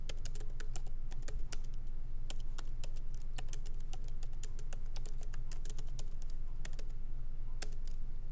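Both hands type lightly with their fingertips on a MacBook Pro laptop keyboard, its plastic keycaps set in an aluminum body, with the laptop resting on a wooden desk. Quick, irregular, bright clicks and taps sit over a steady low hum throughout.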